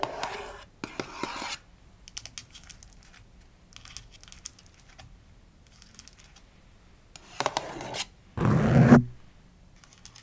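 Long nails scratch and tap the front face and sides of a small closed cardboard Fitbit Versa 3 watch box resting on carpet. Short bursts of dry, papery scratching alternate with faint, brighter tapping. Two louder, denser scrapes come near the end.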